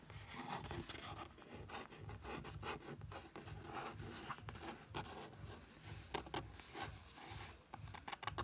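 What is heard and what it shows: A fingertip traces and rubs across a printed photo on a thin paper page of an open paperback. It makes a soft, continuous papery rubbing and scraping with a low rumble underneath and occasional sharper, brighter ticks.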